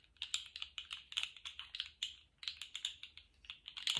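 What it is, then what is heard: Plastic articulated slug fidget toy clicking. A small rainbow-striped jointed plastic slug fidget toy is flexed and wiggled in one hand, its segments rattling and clicking. The result is a quick run of short, bright, dry clicks with almost no low end, breaking briefly just past the midpoint before starting up again.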